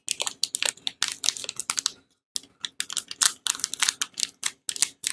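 A small, solid bar of Tibet Luxury soap in a glossy blue plastic wrapper is held in both hands while fingertips and painted nails scratch, press and crinkle the wrapper, starting to unwrap it. Rapid bursts of crisp, bright crackling and ticking clicks follow one another, broken by a brief silence near the two-second mark before the crinkling resumes.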